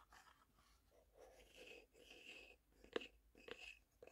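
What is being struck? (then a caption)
Small closed wooden box. A small, hollow, printed wooden tea box, closed, is tapped with fingertips and nails, including along its top edge. Soft, muffled tapping and scratchy, brushing sounds with a hollow wooden tone lead into three sharper, bright clicks near the end, each dying away almost instantly.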